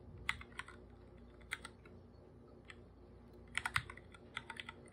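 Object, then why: Plastic computer keyboard. A full-size black computer keyboard with plastic keycaps, a hollow device, is typed on with bare fingertips. Short, crisp plastic taps come in irregular bursts over a low, steady background, with a bright clicky tone centered around 2 kHz. Each tap dies away almost instantly.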